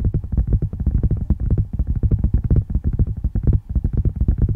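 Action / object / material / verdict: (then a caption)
tap / handheld tablet in a plastic case with glass screen / plastic, glass / none. Fingertips and nails rapidly tap and scratch on a flat handheld tablet in a dark plastic and glass case, held close to the microphone. The result is a dense, steady stream of short, dull, low thuds with almost no bright content. There is a brief dip just past three and a half seconds before the tapping resumes.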